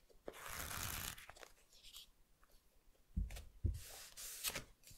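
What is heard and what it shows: Fingertips rub and scratch the glossy printed cover of a thick paperback volume of the manga A Silent Voice, then riffle and scratch along the edges of its solid block of paper pages, while a stack of other volumes sits untouched nearby. A long, bright, papery scratching rustle is followed by short scrapes, two dull low thumps near the middle, and further bright, tearing-like riffles toward the end.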